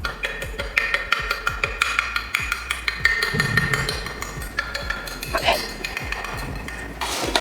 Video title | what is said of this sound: 🎧 Can You Hear the Quality? Sound Test: VIP - A - B - C #sawdust # #charcoal #sawdustcharcoal | it also sound like the melody of a song